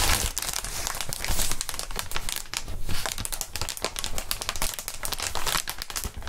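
Clear inflated plastic air column cushion wrap with air-filled tubes is squeezed, waved and crinkled by fingerless-gloved hands. It makes a steady, dense run of bright, crackly crinkling and rustling with many quick, uneven snaps and a low, soft thumping underneath.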